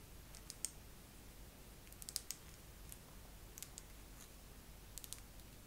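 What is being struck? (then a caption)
Face massager. A face massager is tapped slowly with long nails, giving sparse, irregular, short bright clicks with almost no ring. The taps sit over a quiet, steady low background.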